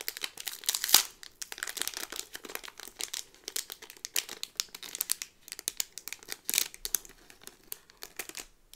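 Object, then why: Cardboard card in a plastic sleeve. Fingers with long nails squeeze and scratch the clear, crinkly plastic bag holding a small cardboard pin backing card. The result is a steady stream of quick, bright crinkles and crackles with almost no low end, with one sharper, louder crackle near the start.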